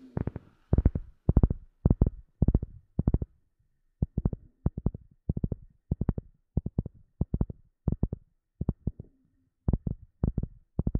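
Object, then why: Flat rubber sheet. A round, flat black rubber sheet is tapped with the long nails and fingertips of both hands. Quick bursts of short, dull, low thuds with almost no ring come in clusters separated by brief pauses.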